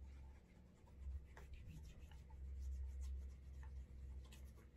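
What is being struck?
Leather dress shoe.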